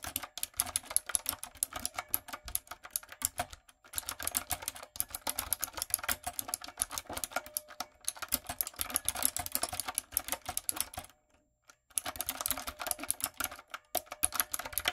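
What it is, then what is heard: Mechanical keyboard with round plastic keycaps. Fingertips with long coffin acrylic nails type on a typewriter-style, backlit retro mechanical keyboard with round plastic keycaps and a dark plastic or metal body, resting on a wooden desk. Rapid, bright key taps and clicks run in steady bursts, with a short pause near 4 seconds and a longer break around 11 to 12 seconds before the typing resumes.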